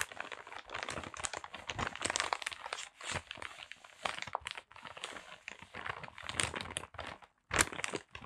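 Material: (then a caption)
Paper. A small, flat parcel wrapped in brown kraft paper is held in both hands and squeezed and rubbed with the fingertips. Dense, bright paper crinkling and crunching comes in irregular bursts, with a few brief silent gaps between them.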